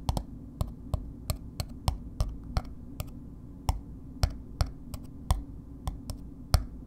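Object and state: Paper-wrapped bar soap.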